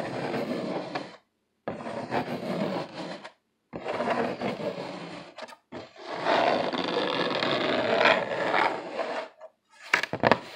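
Fingertips and short nails scratch and rub hard near the bottom edge of a flat brown corrugated cardboard sheet held upright. Dry, raspy bursts of scratching come in long strokes separated by short silent gaps. The clip ends with a few sharper, brighter scrapes.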